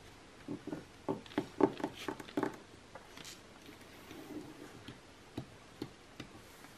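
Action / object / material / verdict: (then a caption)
tap / glossy coated-paper magazine tapped with fingernails / coated paper / none. Long nails tap and scratch across the same page spread of an open glossy magazine lying flat on a table, its thin coated paper giving dry, short clicks centered in the low midrange. About 13 quick taps come in a dense cluster over the first two and a half seconds, then a soft papery scratching follows, and a few sparse, quieter taps close the clip.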